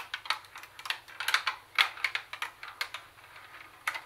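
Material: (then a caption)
Plastic. Long nails tap quickly on a plastic CD cassette boombox, striking its cassette buttons and flat plastic top panel. About 16 sharp, bright clicks land in an uneven rhythm, each dying almost at once with a dry plastic tick and no low body.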